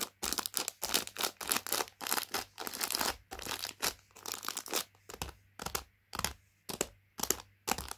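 A palm and fingers press and crinkle the plastic packet of Rich Tea Fingers biscuits. Bright, crackly crinkling comes in a rapid series of short bursts with brief quiet gaps between them, with little low end.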